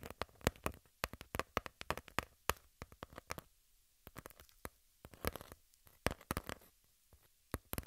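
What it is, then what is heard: Cardboard sheet. Long pink nails scratch and tap a flat piece of brown cardboard. The result is a quiet, uneven run of many dry, sharp taps and scratchy rustles that reach up into bright highs, with each sound dying away almost at once and brief gaps between the flurries.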